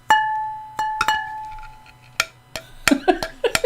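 A Royal semi-porcelain piece in the Princess pattern, made in England, is tapped 11 times to test it. The first taps bring out a clear, sustained ping with steady tones that fade over about a second, and the later taps sound shorter and duller. The clear ring shows the piece is not cracked.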